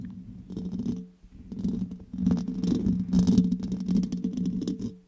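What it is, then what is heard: Metal microphone grille scratched and tapped with nails. Long red nails scratch and tap directly on the hollow, round steel mesh grille of a condenser microphone. The result is a dense, low, hollow rumbling scrape with a steady hum near 180 Hz. Quick, irregular ticks and scratches come in bursts, separated by short quieter pauses.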